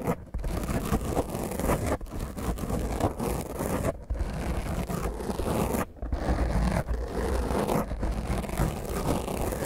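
Both hands rapidly scratch the top of a black foam microphone windscreen with long nails. The result is a dense, continuous, rough scratching and rustling that sounds muffled and boomy, with most of its energy low and little brightness. It breaks off briefly several times before resuming at the same intensity.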